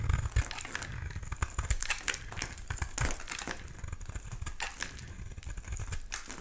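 A solid oval pink bar of soap, held in the hand, is shaved and scraped with a black utility knife blade, curling flakes off the bar. The scraping makes a dense, uneven run of dry crackling and crinkling strokes with a heavy low-end rumble and short, bright scratchy bursts.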